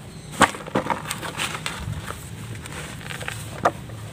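Both hands press a large, solid block of dry red mud sitting in a plastic tub of red dust, breaking off chunks and crumbling them between the fingers. Sharp, dry cracking snaps stand out near the start and again near the end, with a soft, gritty crumbling rustle filling the gaps between them.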